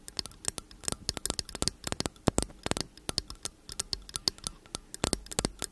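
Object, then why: Slim metal condenser microphone body. Long acrylic nails tap and scratch rapidly along the hollow metal bodies of two identical slim cylindrical t.bone condenser microphones held upright. The result is a quiet, dense patter of sharp, bright clicks with light scratching between them. Each tick dies away almost instantly.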